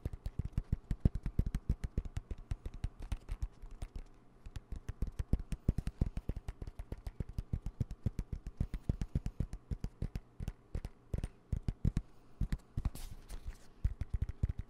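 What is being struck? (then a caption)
Fabric zip pouch. A dark green fabric zip pouch with yellow zipper trim, soft and hollow, is held upright and tapped and scratched with the fingertips. Dense, quick, muffled taps with very short decay come in a steady stream, with faint scratching between them, all low and dull in tone.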